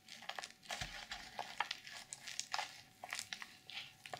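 Long purple nails scratch the reversible sequin fabric cover of a closed black journal and grip its edges. The result is a quiet run of bright, crinkly scratches and quick clicking ticks as the sequins shift, with almost no low end.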